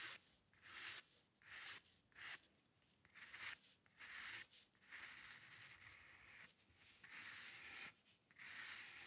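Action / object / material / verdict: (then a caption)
scrape / steel pen nib on paper / paper / none. A steel-nib dip pen with ink, held in the fingers, scratches fine hair strokes across a flat sheet of white drawing paper resting on a dark table. The result is a series of irregular, bright, papery scratching bursts with short pauses between strokes and almost no low end.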